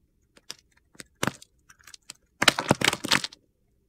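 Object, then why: Bar of soap scraped with a metal blade. A metal box-cutter blade shaves and scrapes along the edge of a solid light-blue Coast bar soap held in hand, lifting off long curls. Short, crisp scraping ticks come first, then a longer run of dense, gritty shaving at the end.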